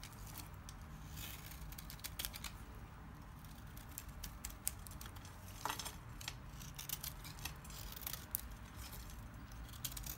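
A solid lime-green oval bar of dry Timotei soap, held in the hand, is shaved with a small kitchen knife so flakes curl off. Quiet, crisp scraping and cutting strokes give short, bright crackles over a steady low rumble.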